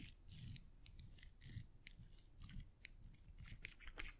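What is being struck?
Metal coins.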